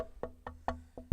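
Six hard knocks on an unfinished wooden guitar body with no electronics give short, dull, woody thuds with a low boom and almost no ring. The B harmonic and E-flat overtone heard up close to the body do not come through here.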